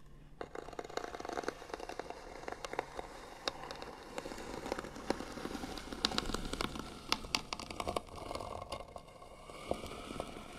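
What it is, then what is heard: Small painted wooden box lid. Fingernails quickly scratch and tap on the lid of a small, hollow, white painted wooden box. Dense, dry scraping runs throughout, broken by short, sharp taps and crackly clicks that carry bright upper tones and die away almost instantly. The sound stays fairly quiet and steady, with slightly busier scratching near the middle of the clip.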